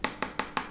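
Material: Plastic.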